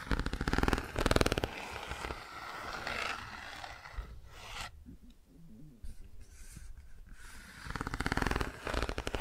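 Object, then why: Cardboard board book with textured pages. Fingertips and long nails rub and scratch the textured car and bicycle shapes on the open pages of a cardboard board book. Bursts of rapid, rasping scratches at the start and end frame a stretch of softer, low rubbing in between.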